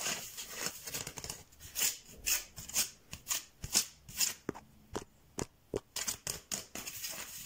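Fingertips and nails scratch and tap on a striped bamboo slat mat, making dry, bright scratching swishes and sharp clicky taps. The sounds come in quick, uneven bursts, roughly two per second, each dying away almost at once with no ring.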